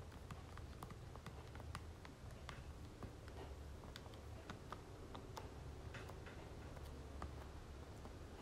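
Fingernails tap quickly on the face of a soft plastic lotion tube held in the other hand. The taps come as a rapid run of short, dry, bright clicks that die away almost at once, over a steady low hum.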